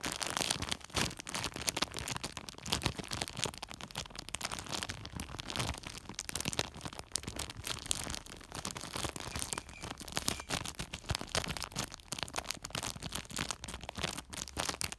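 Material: Woven plastic.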